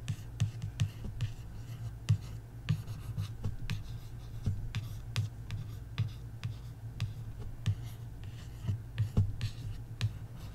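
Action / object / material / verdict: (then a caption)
scrape / paperback book with card cover / card / none. Fingertips and long nails trace and scratch across the card cover of a large paperback coloring book, "Cute Kawaii Coloring," lying flat. Soft, dry scratching is broken by a steady run of short, bright ticks and taps, each dying away almost instantly. A constant low hum sits beneath it all.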